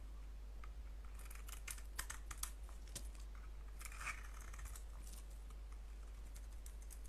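A solid soap bar with a blue coating and a white core, held in the palm, is shaved with a blade. Quiet, crisp scraping and soft crackling flicks come through as bright, brief ticks over a steady low hum.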